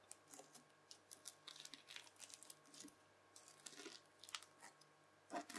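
A white plastic fork presses its tines into a red bubbly slime disc, then lifts and folds its edge. The result is a quiet run of many crisp, bright crackles and pops, with a faint steady low hum underneath.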